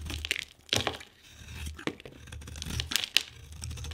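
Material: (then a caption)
Soap. A solid oval yellow bar of soap, held in the hand, is scraped with a metal knife blade that peels off thin curls. Bright, crackly scraping and shaving strokes come in short bursts, some sharper and louder than others, over a faint low hum.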